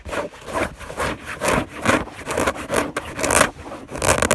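Fingertips and long nails scratch and rub across a white fabric bed sheet on a bed, heard up close. About seven uneven rasping strokes swell and fade, each a dry, papery scrape centered in the midrange with a bright hiss on top.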